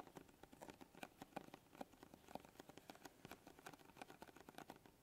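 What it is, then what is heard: Cardboard box tapped and scratched with nails. Long glittery acrylic nails and fingertips scratch and tap across the surface of a small printed cardboard box of kinetic sand lying flat on a dark table. The result is a quiet, steady stream of quick, dry clicks and papery scratches, each tap brief with a hollow mid-range tone and a bright edge.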